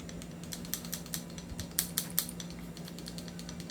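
A quality airsoft gun is shaken for comparison with a cheap unit, giving only faint, scattered light ticks over a steady low hum. It stays solid and tight, without the rattle of the cheaper gun.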